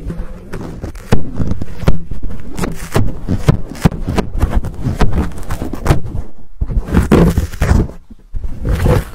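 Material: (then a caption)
Foam. Fingertips scratch and rub the fuzzy black foam windscreen on a Blue Yeti microphone, making close, muffled scraping and thumping bursts that are deep and boomy, with little high content. The rubbing comes in many quick, uneven strokes with brief near-silent gaps before resuming.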